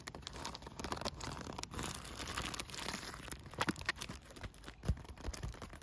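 A blue plastic bubble-wrap-style solar pool cover made of thin air-bubble film is scratched, rubbed and crinkled with fingertips and nails. A steady, dense crinkling and scratchy rustle fills the clip, broken by sharper crackles and a few louder low thumps near the end.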